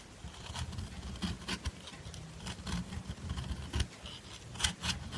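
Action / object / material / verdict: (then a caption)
scrape / bar soap scraped with a metal nail file / soap / none. A dark metal nail file is rubbed and scraped along the side of a solid white-cream bar of soap held in the hand, shaving off white powder. Soft, dry rasping strokes come in uneven bursts with bright, gritty scratches over a faint low rumble.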